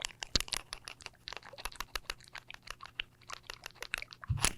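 A new bottle of beard grooming product, one that has made a beard softer, is shaken close to a microphone so its contents can be heard. A rapid series of sharp, dry, crunchy rattles and clicks, mostly bright with a low thump underneath, ends in a louder burst as the shaking stops.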